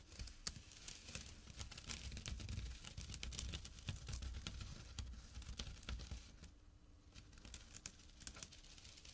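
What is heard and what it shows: Fingertips and short nails scratch a small, empty jute burlap pouch with a drawstring resting on dark cloth. The result is a quiet, dense, rough scratching with a low rumble beneath, broken by quick, irregular bright crackles that come about four times a second.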